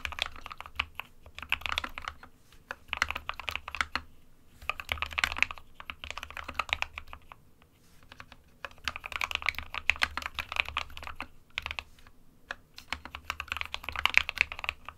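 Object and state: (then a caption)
Plastic mechanical keyboard. Fingertips of both hands type on an SK61 compact 60% plastic mechanical keyboard with white and grey keycaps. Bursts of rapid, bright, dry key clicks with almost no ring come in clusters separated by brief pauses.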